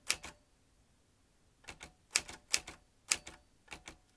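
A vintage metal manual typewriter with round keys and typebars is typed on, fingertips of both hands pressing the keys. Eleven sharp, bright clacks come in short pairs and bursts separated by quiet pauses, each dying away almost at once.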